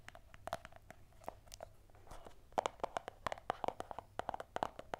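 A small, hollow, closed white cardboard Apple earphone box is held in both hands and tapped and scratched with long manicured nails. A quick, uneven series of sharp, dry clicks with a hollow midrange resonance is heard, mixed with soft scratching between the taps. The hits grow denser and louder in the second half.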